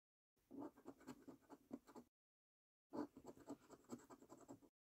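A coin scratches the latex-coated number panels of a thin paper £5 scratch card resting on a dark table. Two bursts of quick, rasping strokes are separated by a short silence, with a midrange grainy texture and faint high hiss.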